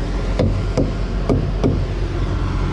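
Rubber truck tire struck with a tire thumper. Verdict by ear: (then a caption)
Inflated. Rubber truck tires are struck with a tire thumper during a pre-trip walkaround, giving four dull, low thuds over steady background rumble. The tire sounds hard, indicating it is properly inflated.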